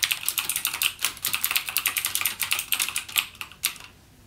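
Fingertips type continuously on a backlit mechanical gaming keyboard with plastic keycaps and clicky Cherry MX Blue switches. A rapid, steady stream of sharp, bright clicks with almost no low end rattles out, each dying away instantly, before the typing stops and the sound fades out near the end.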